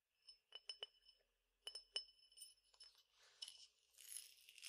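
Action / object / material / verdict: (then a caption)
tap / glass tumbler with peppercorns inside / glass / none. A clear drinking glass, partly filled with peppercorns or grains, is tapped with the fingernails, giving a series of short, bright, high clinks that die away almost at once. It is then tilted, and the grains shift and rustle with a soft, high hiss.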